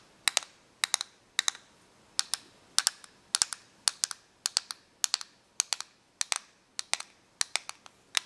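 Long nails tap and scratch the casing of a small, hollow, clear plastic correction tape dispenser with a green reel. Quick pairs and triplets of sharp, bright clicking taps repeat steadily with short pauses between them. Each tap stops dead, with no ring, and there is almost no low end.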